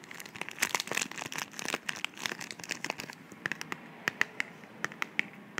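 Long manicured nails tap and scratch along the sides and flaps of a small, slim, hollow white cardboard box held in the hand. The first three seconds are a dense, bright, papery scratching and crinkling. After that comes a run of sharp, separate clicky taps that stop dead with no ring.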